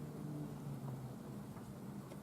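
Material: Nothing is struck.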